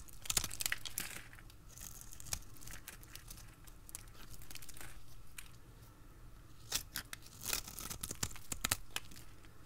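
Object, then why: Bar of soap cut with a blade. A utility blade carves crisp strips from the face of a dry, solid red bar of soap held in a hand with long red nails. The cuts make repeated bright, crackly scraping and tearing sounds over a low steady hum. Sharper crunches stand out near the start and again toward the end.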